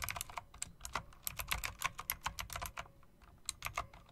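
Fast typing on a plastic and metal typewriter-style RGB mechanical keyboard with round chrome-rimmed keycaps, pressed by fingertips with long dark nails. It produces a quick run of sharp, bright, clicky keystrokes with almost no ring, with a brief pause near the end before a few final taps.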